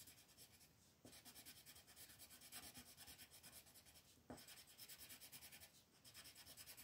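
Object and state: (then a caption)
Colored pencil shading on a paper sheet. A pink colored pencil is rubbed and scratched across a flat white paper mandala sheet on a table to shade its petals, while the other hand holds the sheet. Quiet, rapid, bright scratchy strokes repeat steadily, with two brief pauses where a sharper tap marks the pencil restarting.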